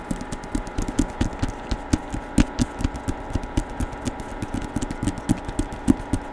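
Fingertips tap and scratch the glossy printed cover of a hardcover book showing a woman's face, held in both hands near the microphone. Roughly 26 quick, dry taps come in a fast, uneven run, with soft scratching between them. The taps are dull and low-pitched and stop almost instantly, with no ring.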